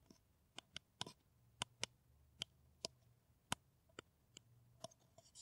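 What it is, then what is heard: Empty paper coffee cup. An empty, hollow brown paper coffee cup is held in one hand and tapped with long nails. About a dozen sharp, bright clicks sound at an uneven pace, each stopping almost instantly with no ring, over a quiet low hum.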